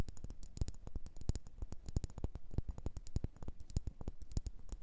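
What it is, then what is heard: Wax pillar candle. Long nails tap and scratch a solid red faceted wax pillar candle, making a quiet, steady run of quick, dry taps. Each tap has a soft low thump and a bright tick on top, and dies away almost at once. Light scratching fills the gaps between the taps.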